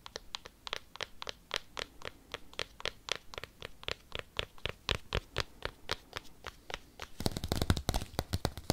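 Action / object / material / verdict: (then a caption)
tap / cork coaster tapped and scratched with metal paperclips / cork / none. Paperclips clipped onto long nails rapidly tap and scratch a round, flat, solid, palm-sized cork coaster. Quick, sharp, dry clicks with bright edges repeat at an uneven pace for about seven seconds. The sound then shifts into a denser, louder burst of scratchy clatter.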